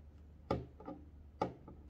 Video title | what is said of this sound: Bandai Super Imaginative Chogokin (SIC) Kamen Rider Hibiki : Sabaki, Eiki and Danki | kalau kita jatuhkan ada bunyinya nih Hai Kayak bunyi besi-besi